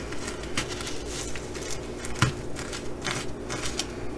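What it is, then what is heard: Sequin fabric bag. A single long fingernail scratches across the bronze and blue flip sequins of a reversible sequin fabric bag, flipping them over. The result is soft, dry scratching and crackling in a run of brushy bursts, with a brighter flick of sequins partway through over a steady low hum.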